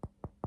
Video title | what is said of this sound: ✨ My AMI AMIS Collection! ✨ | if I tap it, you can hear it's harder. And then that bit's softer.